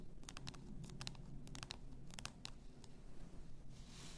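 Long nails scratch the upper body and the pink label of a clear glass bottle full of pink bath salt. A quick series of short, dry, bright scratching strokes sits over a steady low hum, with a soft hiss near the end.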